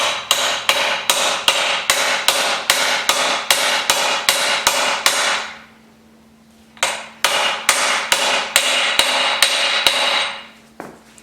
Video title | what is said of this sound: 6 0li LS1 Step by Step Engine Build - Smokey & the Bandit LS Swap Pt4 | Hear that dink dink? That's how you know she's home.